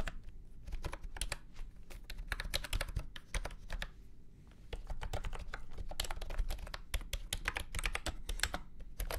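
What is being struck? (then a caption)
Plastic keyboard with round keycaps. Fingertips type steadily on a full-size beige and orange plastic retro keyboard with round keycaps and a hollow body, resting on a felt mat. Rapid, dry keystrokes each give a bright click over a low hollow thump and die away almost instantly. A brief pause falls just past the midpoint before the typing resumes.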